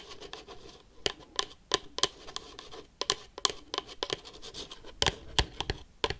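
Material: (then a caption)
Cardboard. Metal paperclips worn on the fingertips scratch and tap a hollow, red and black printed cardboard Pikachu box. A steady papery scratching runs throughout, broken by quick, sharp, bright taps that stop almost instantly with no ringing.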